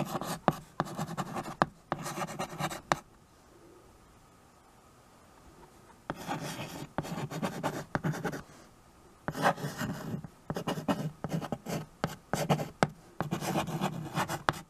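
A white chalk stick scratches across a small, solid, flat wood-framed chalkboard while writing. Bursts of dry, scratchy strokes with short taps come in clusters, break for a quiet pause of about three seconds in the middle, then resume in several more bursts until the end.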